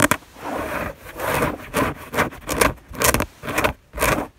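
Fingertips and long nails scratch and rub across a white fabric bed sheet in nine separate strokes. Each is a soft, breathy scraping hiss with a bright, airy top. The strokes come at an uneven pace, and the first is a short, sharp scratch.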